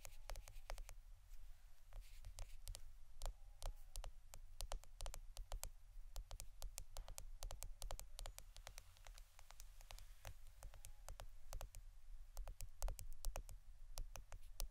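A roll of plastic Scotch adhesive tape is tapped and scratched in quiet, rapid succession. Many short, sharp clicks ring out bright over a steady low hum, and each tap dies away almost instantly.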